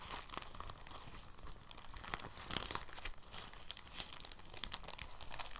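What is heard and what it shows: A clear, thin, soft plastic bag is rolled, unrolled and stretched by hand, making a steady stream of quiet, bright crinkles. One sharper, louder crackle stands out about halfway through.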